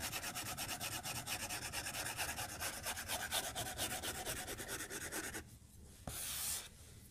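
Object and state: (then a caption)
Stylus rubbing on a glass tablet screen. A white plastic stylus tip is rubbed back and forth in short shading strokes across a flat glass tablet touchscreen in a white case on a desk. It makes a rapid, bright, scratchy rubbing that stops after about five seconds, followed by a quiet pause, a single light tap, and a brief bright hiss.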